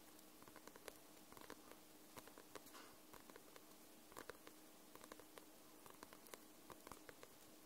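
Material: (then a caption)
Paper. Long nails tap and scratch the glossy paper cover of a paperback book. About nineteen soft, short, crisp taps come at an irregular, unhurried pace, with faint scratching between them. The taps are bright and clicky over a steady low hiss.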